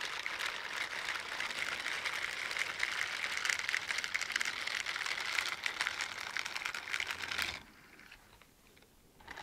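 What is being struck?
Silicone bristle dishwashing gloves.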